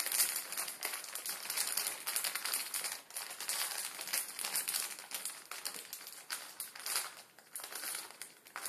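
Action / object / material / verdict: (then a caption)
scrape / plastic instant ramen packet / plastic film / none. Fingertips crinkle and scratch a full instant ramen packet, its plastic film filled with dry noodles, as it rests on a table. The result is a dense, bright, continuous crackling that swells and dips in quick bursts, with almost no low end.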